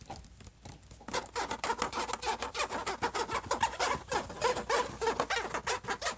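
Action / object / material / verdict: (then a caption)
scrape / metal-finish laptop lid / metal / none. Fingertips and nails of both hands scratch and tap the silver metallic-look lid of a closed HP laptop. After a quiet first second, a fast, uneven run of sharp, bright scratches and clicks follows at about three per second.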